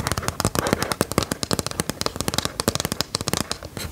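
A small, flat white plastic LCD writing tablet is held close to the mic and tapped and scratched on its screen with long metal claw nails. A rapid, uneven run of sharp, dry clicks and scratchy crackles follows, each dying away almost instantly, with a bright top and a light low thump.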